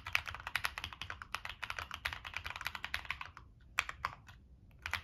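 Fingertips type on a Monsgeek M1 mechanical keyboard with NK Creams switches, a dark metal case and purple and black plastic keycaps. A fast, steady run of short, bright, clacky keystrokes centred around 2.5 kHz pauses briefly just past the three-second mark, then resumes. Each press is crisp and dry, with almost no ring after it.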